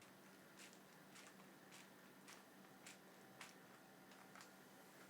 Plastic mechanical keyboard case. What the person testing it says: kalau kita goyang-goyangin kayak begini dia ada suara-suara kayak gini ya